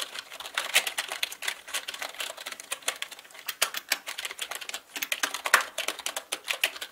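Both hands type fast with their fingertips on a black full-size mechanical keyboard with plastic keycaps, resting on a felt surface. A continuous stream of sharp, bright plastic clicks and clacks comes through with almost no low end. Each tap dies away almost at once.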